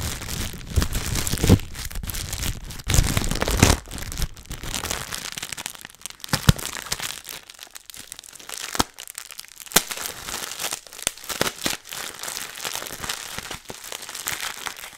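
A small, thin, clear plastic bag holding a small item is crinkled and squeezed between the fingers of both hands close to the microphone. It makes dense, bright crackling and crinkling with sharp snaps scattered throughout. The sound is loudest at the start, eases off in the middle, then picks up again.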